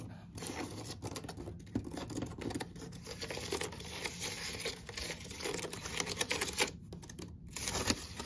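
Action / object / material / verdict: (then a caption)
scrape / woven seagrass basket / seagrass / none. Long acrylic nails scratch and tap quickly along the braided inside wall of an open, empty woven natural-fibre basket (seagrass or water hyacinth) holding a toilet paper roll. The result is a dense, bright, dry crackle of scraping and rapid light taps with no ringing, continuing with uneven bursts throughout.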